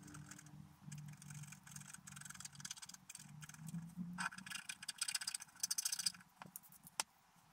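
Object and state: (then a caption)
Scratch art paper being scratched. A wooden stylus scratches details into a flat, black-coated scratch art paper page, producing quiet, rapid, bright scraping strokes over a faint low hum. The strokes grow denser and louder in the middle, then taper off, ending with a single sharp tick.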